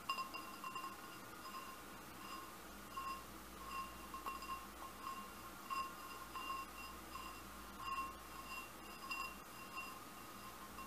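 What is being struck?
Glass goblet.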